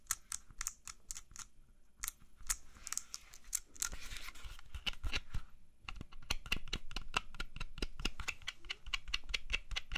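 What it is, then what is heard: Apple tapped with fingernails. Fingernails tap rapidly on a whole, solid red-yellow apple as it is rotated in the hands, giving a stream of sharp, bright, dry clicks. Midway the tapping briefly gives way to a softer scratchy rubbing before the quick tapping resumes over a faint low hum.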